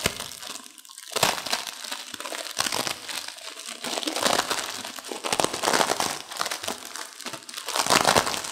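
A full, plastic-wrapped instant noodle pack is held in both hands while long-nailed fingers squeeze and crush the dry noodle block inside. Bright, dense crinkling of the plastic mixes with crisp crunching in repeated bursts, with almost no low end.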